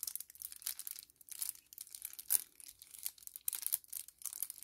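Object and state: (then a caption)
Kraft paper-plastic laminate sachet. A small, flat 10 ml kraft paper-plastic laminate sachet is held in both hands and crinkled and bent with the fingers and thumbs. It makes quiet, bright, papery crackling in uneven bursts, with brief pauses and a sharper crackle partway through. There is almost no low end.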